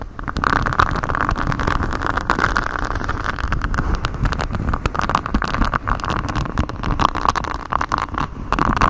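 A flexible grey silicone sheet with a honeycomb hexagon texture, bent over a microphone, is scratched and rubbed by fingers in black knit gloves. A continuous close, rustling scrape with a low rumble and a steady tonal band around 1.1 kHz runs throughout, broken by many quick, dry scratch clicks.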